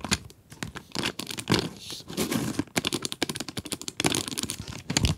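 Long nails tap and scratch across the plastic window of a cardboard pencil box full of pencils. A rapid, uneven run of sharp, dry clicks and crinkly scrapes follows, with bright, hissy texture and a faint rattle beneath. Each tap stops almost instantly with no ring.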